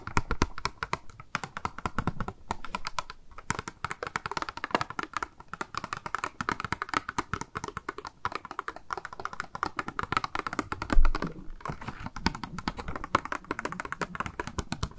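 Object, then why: Small plastic blister box with a sponge inside. A small, hollow, clear pink plastic cube blister package with a makeup sponge inside is held in the hand and tapped rapidly with long nails. The result is a steady stream of short, dry plastic clicks with a dull, hollow body, interrupted by a few brief pauses and one louder knock near the end.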